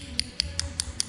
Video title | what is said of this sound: How to: 5.9 Cummins head gasket replacement (part 2/2 Install) | you can hear when it bottomed out there